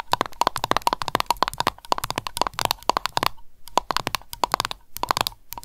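Long nails tap and scratch the tin lid of a small glass candle jar full of wax, then the jar is picked up and the lid's rim is tapped. The result is rapid bursts of sharp, bright clicks with a ringing tone near 1 kHz, separated by brief pauses and soft scratching.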